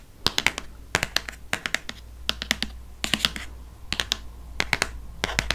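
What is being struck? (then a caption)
Hardcover paper book. A hardcover paper book is held sideways while its spine is tapped quickly with fingernails. The result is bursts of sharp, bright, dry clicks with almost no ring, over a faint steady low hum.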